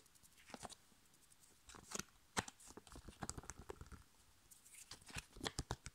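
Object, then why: Foil-laminated plastic sachet. Long nails and fingertips tap the front of a flat, sealed, printed foil-laminated plastic sachet holding a foil sheet face mask. The result is a quiet, irregular run of short, dry, crinkly clicks and taps with bright, papery highs and almost no ring, coming in scattered clusters with brief pauses between.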